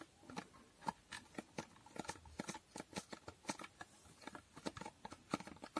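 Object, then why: Small foil-covered cardboard box. Fingernails tap quickly across the faces of a small hollow cardboard box with a holographic foil finish. The result is a quiet, irregular patter of crisp, dry clicks that die away almost instantly, with a papery hollow body and bright ticking edges.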